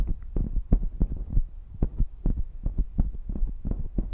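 Fingertips and long nails rub and tap along the hollow metal bodies of two identical silver pencil condenser microphones near the capsules, with no foam covers. The result is a quick, irregular run of soft, deep, booming thumps, almost all low bass, that die away right after each touch with no ring.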